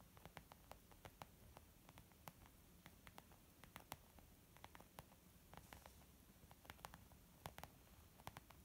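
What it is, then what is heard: Leather makeup bag. Fingertips and nails tap quickly on a white textured leather zip makeup pouch. Short, sharp, bright clicks land irregularly over a quiet, steady low rumble and hiss. Each tap dies away almost instantly.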